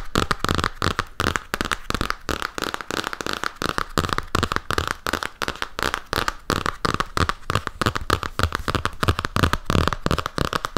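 Fingertips and nails rapidly tap and scratch the glossy printed cardboard cover of a large hardcover Jim Hawkins comic album made of paper and board. The result is a steady, irregular stream of short, dry taps mixed with scratchy crackling, with a low thump under each tap and a bright papery rasp.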